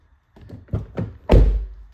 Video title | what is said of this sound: Car Sound Proofing/Treatment on CR-V and Civic | even when I close it really hard there's no uh Hollow sound to it